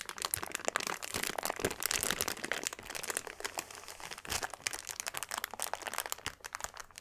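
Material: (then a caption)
Plastic. Fingertips of both hands press, rub and scratch a flat, brick-sized clear plastic bag packed full of tiny purple granules lying on a dark cloth. A dense, continuous stream of bright crinkling and crunching crackles runs throughout, with sharp, short-lived snaps and almost no low end. It eases slightly in the middle before picking back up.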